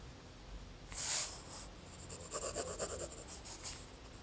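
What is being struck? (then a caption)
Graphite pencil on lined notebook paper. A graphite pencil draws small shapes on a thin lined notebook page with scratching strokes. A louder, bright scrape comes first, then a quick run of short, papery scratches with a high hiss over a quiet background.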